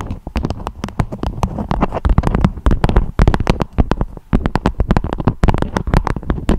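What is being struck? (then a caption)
Beeswax-coated fabric wrap. Long acrylic nails tap and scratch a beeswax-coated fabric food wrap with a strawberry print, shaped into a dome. A rapid, uneven stream of short, dull, crinkly taps with a soft scratching texture between them. The sound is deep and muffled, with no ring and almost no high end.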